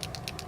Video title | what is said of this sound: Wink of Stella Brushアイデア 全編 | begin to shake it and you'll hear that there's a little shaker ball inside of it